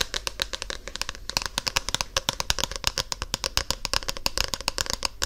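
Long painted nails rapidly tap and scratch the glossy card cover of a solid paperback book held close to an ear microphone. Dozens of crisp, bright clicks with very short decay ride over a soft, continuous scratching hiss.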